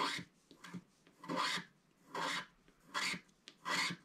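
A wooden stick stylus held in the fingers scrapes the black coating off a flat sheet of scratch-art paper in a book. Repeated, unevenly spaced rasping strokes sound bright and papery, each swelling and fading within about half a second, with faint small ticks in between.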